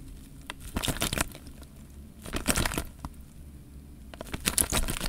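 Fingers squeeze a clear plastic bag full of water, shifting the water inside. Three bursts of bright, crinkling plastic rustle with soft sloshing rise over a quiet, low rumbling background.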